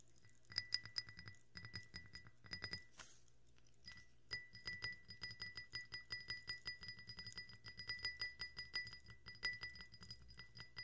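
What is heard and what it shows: A drinking glass with carbonated water is tapped in quick, irregular runs, giving bright, short clinks with a clear ringing tone near 2 kHz and a higher overtone. A brief, soft fizzy hiss fills a pause around the third second before the tapping resumes and continues steadily to the end.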